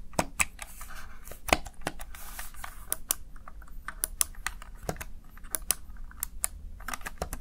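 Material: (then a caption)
Plastic. Fingertips press the keys of a plastic Razer Tartarus Chroma gaming keypad in quick typing. It makes a rapid, irregular string of short, sharp plastic clicks that stop almost instantly, bright on top over a soft low background rumble.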